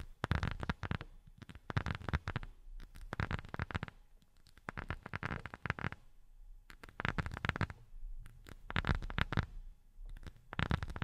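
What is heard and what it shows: A rubber sheet is tapped with silicone rubber finger pads in quick bursts separated by short pauses. The taps are soft, dull and muffled, with a low thud and no ring after each touch.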